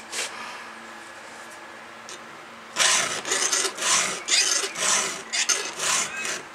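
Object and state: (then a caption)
Steel chainsaw chain being filed. A round steel file is stroked across a cutter of a solid steel chainsaw chain on the bar. After a short scrape and a quiet pause, a steady run of bright, high-pitched rasping strokes follows, with each pass grinding harshly against the steel.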